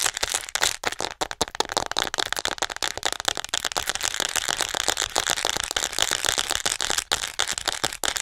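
Long acrylic nails tap fast on the upper body of a hollow white plastic acupuncture model doll held close to the mic. The result is a dense stream of sharp, dry, bright clicks and rattles with almost no low end and no ring between taps.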